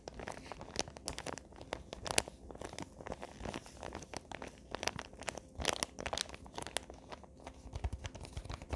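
Fingertips and nails crinkle and scratch a small gift-wrapped paper box covered in Christmas wrapping paper. Dense, crackly paper rustles come in quick, uneven bursts with sharp, bright snaps that die away instantly. A soft low rumble sits underneath throughout.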